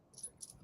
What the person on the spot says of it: sounds like metal right it's like you can't plastic just doesn't it doesn't doesn't clink the same way